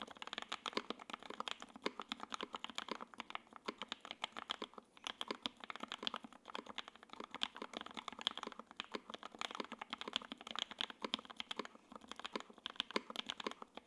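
A J-02 WKL 60% mechanical keyboard with Tangerine switches, ABS keycaps, a carbon fiber plate and a gray aluminum case is typed on continuously with the fingertips of both hands. It makes a rapid, steady stream of short, dry clacks that are bright and crisp, with no low thump and almost no ring after each keystroke.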